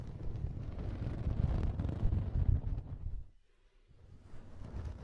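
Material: Cotton.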